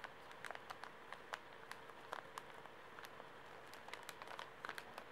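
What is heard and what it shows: A small, full Kleenex pocket tissue pack in plastic film is held in both hands while fingertips and nails crinkle, squeeze and scratch it. Quiet, crisp crackles and sharp plastic ticks come in scattered bursts over a steady soft hiss, each snap bright and dying away almost instantly.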